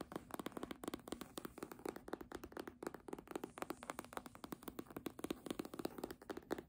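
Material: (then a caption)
Faux leather. Long nails tap the spine of a red embossed faux-leather hardcover book, then scratch and tap along its top edge and cover as the book is tilted. The result is a quiet, steady stream of rapid, dry taps with soft scratching in between, centered in the low-mids around 350 Hz with almost no ring.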